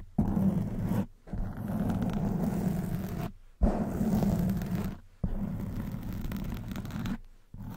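Fingertips and long white nails scratch the front and sides of a black soft foam microphone windscreen. The result is a dense, muffled, low rumbling scrape that comes in long sustained bursts separated by brief silent pauses, with almost no bright content.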